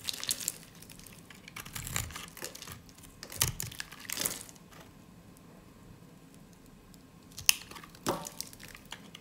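A solid bar of dry white soap, held in a hand with long orange nails, is shaved with a snap-off utility blade so thin crunchy curls peel off. Bright, dry crinkling and scraping bursts come in short clusters separated by quiet pauses, with a sharp click-like crack near the end.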